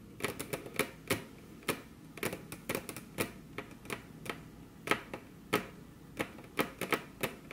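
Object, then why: Wooden table top. Very long, curved fingernails on crossed hands tap their tips against a flat, solid, glossy dark-brown wood-grain table top. The result is a quick, irregular stream of sharp, clicky taps with a bright edge, little low end and almost no ring, each one dying away at once over a quiet background.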